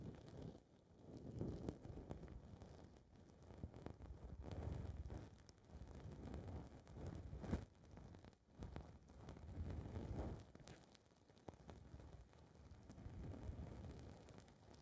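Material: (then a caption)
Foam. Long red nails scratch and rub a small blue foam ball windscreen on a recorder's microphone capsule. The result is a dense, muffled, low rumbling rustle that swells and fades in uneven waves, with occasional sharper scratchy bursts and almost no bright content.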